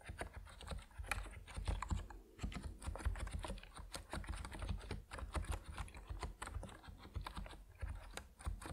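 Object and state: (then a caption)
Mechanical keyboard with PBT plastic keycaps. Fingertips of both hands type steadily on an Epomaker NiZ Plum Atom 68, a 68-key compact mechanical keyboard with white and purple PBT plastic keycaps resting on a wooden desk. The result is a dense run of short, muted keystroke clacks with a deep, low-heavy thock and a brief pause near the two-second mark.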